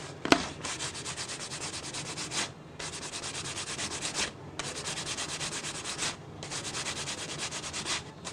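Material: Plastic.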